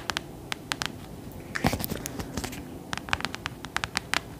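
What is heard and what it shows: Long nails tap on the cover and spine of a thick, solid clothbound hardcover book with gold embossing. Sharp, bright clicking taps are spread across the clip, with a brief burst of scratchy, brushing contact in the middle. Each tap dies away almost instantly over a quiet background.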